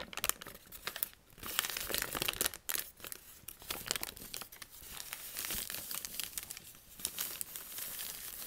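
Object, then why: Sheet of thin lined paper. A single torn-out sheet of thin white lined notebook paper is crushed into a ball in both hands, then pulled open and flattened as fingers squeeze and rub it. Dense, bright crinkling and crackling fill the clip in bursts of rustle with little low end.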